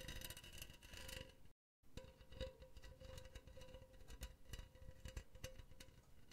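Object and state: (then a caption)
Metal wire-mesh pen holder. Long painted nails tap and scratch the side of a hollow, empty, silver cylindrical wire-mesh pen holder held close to the mic. Quick metallic clicks and raspy scrapes are heard over a faint, steady ringing tone around 520 Hz. The sound cuts out briefly near the start before the tapping and scratching resume.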